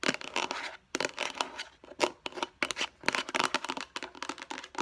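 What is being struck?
Plastic food storage container.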